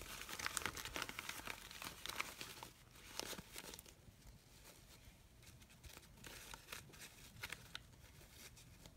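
Fingers with long pink nails squeeze, rub and crinkle the petals of a hand-sized red fabric artificial rose, giving a dense, bright crinkling and rustling with quick crisp snaps. The sound is busiest and loudest in the first three seconds, then settles into quieter, scattered rustles with occasional sharper crackles.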